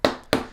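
Paper pages of a question list are tapped, giving two sharp, papery taps with a mid-range thump around 580 Hz and a short decay, followed by a softer third tap near the end.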